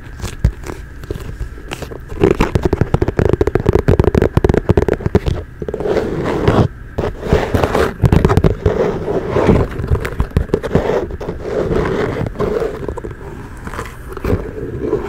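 A hollow, empty brown leather ankle boot with a side zipper is held up close and scratched and tapped with long nails along its outer leather. Dense, rapid crackling scrapes and quick dull taps run throughout, heavy in the low end with little high-frequency content.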